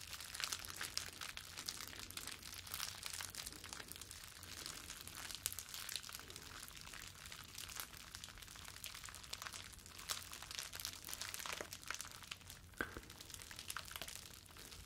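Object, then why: Plastic bubble wrap sheet. A clear plastic bubble wrap sheet with hollow air bubbles is bunched in both hands and squeezed and crumpled with the fingertips close up. The result is a steady, bright crinkling and crunching with many quick crackles and no pauses, while a faint low hum runs underneath.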